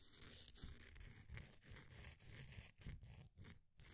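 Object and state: Pressed powder bath bomb scraped.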